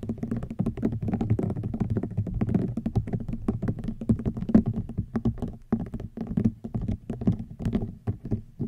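Fingernails tap and scratch across the weave of a hollow woven rattan wicker basket. The result is a rapid, uneven run of soft, dull taps and light scratching, low and woody in tone with almost no bright edge. Each tap dies away almost at once.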